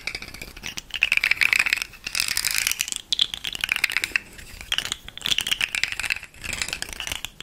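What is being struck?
Segmented hollow plastic fidget slug toy.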